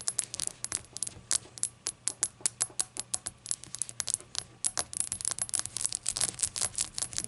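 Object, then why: Small glazed ceramic shot glass. Long acrylic nails tap rapidly on the glossy glaze of a small, hollow, rainbow-glazed ceramic novelty shot glass, which stands empty and upright on a towel. Dozens of quick, bright clicks with a sharp high ring come in an irregular stream that turns denser toward the end, each dying away almost instantly.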